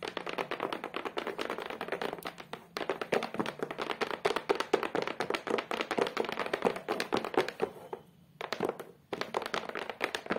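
Long, colorful acrylic nails tap and scratch rapidly across the flat, solid back of a photo frame: a beige cork-textured board with a black edge, lying on a table. The result is a dense run of short, dry clicks with a muted midrange body and a brief scratchy hiss. There is a short gap near the three-second mark and a longer pause near the end before the tapping resumes.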